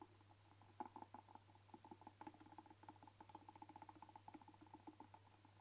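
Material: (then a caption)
Rubber. Fingertips and short nails tap quickly over the body of a hollow black rubber air blower bulb with a ribbed surface, making about nineteen soft, dull, hollow taps centered near 850 Hz. Each tap dies away almost at once, and a steady low hum runs underneath the whole quiet clip.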